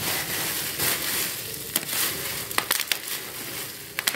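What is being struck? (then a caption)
Plastic bubble wrap sheet. A large, clear sheet of air-filled plastic bubble wrap is held in both hands, squeezed, popped with the fingertips and crumpled. A steady, bright crinkling rustle runs throughout, broken by several sharp, dry pops in the second half.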